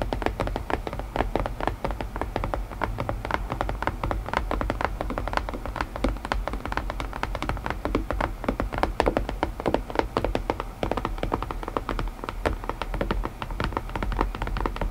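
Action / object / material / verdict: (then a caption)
tap / small closed cardboard box lid / cardboard / none. Long pointed nails tap rapidly and steadily on the lid of a small, closed, hollow white cardboard puzzle box. The taps are short, dry and hollow, with a low body and almost no ring, running continuously for the whole clip.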